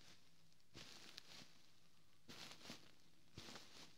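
Fingertips and short nails of one hand scratch and tap the ribbed, quilted fabric cover of a large, soft white pillow, a little away from the microphone. Three short bursts of soft, bright, papery scratching rise out of near silence, each with a few faint taps. The sound stays quiet and hushed throughout.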